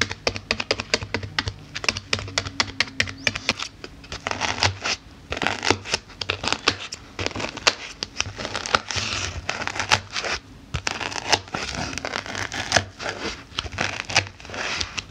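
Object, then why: Polyethylene foam block poked with metal snip tips. A block of stacked white polyethylene foam sheets, about book-sized with a pumpkin drawn on top, is poked over and over with the pointed tip of small metal thread snips while a hand with dark-painted nails steadies it. Dozens of quick, crisp, scratchy pokes and crinkly crackles sound in uneven bursts, bright and dry with almost no ring, over a faint low steady hum.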